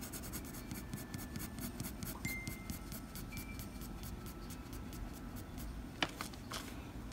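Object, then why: Graphite pencil on a paper sheet. The graphite tip of a blue mechanical pencil scratches across a flat white drawing paper sheet in short fur strokes, making a steady run of soft, rapid scratches with bright, papery hiss over a low rumble. A sharper tick stands out near the end.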